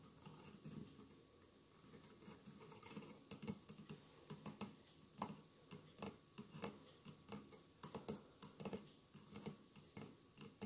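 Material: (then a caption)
Glass. Fingernails tap quickly on the tiled sides of a hollow glass mosaic votive candle holder with a lit candle inside. The result is a run of light, crisp clicks with a dull low body and very short ring, coming in uneven clusters that grow louder after the first few seconds.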